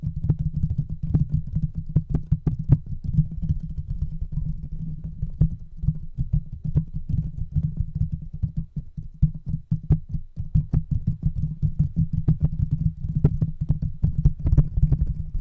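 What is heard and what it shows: The fingertips of both hands tap rapidly on the bare, hollow metal mesh grille of a large silver microphone that has no cover. The result is a dense, continuous stream of deep, boomy thumps with a steady low hum underneath, broken by occasional sharper clicks.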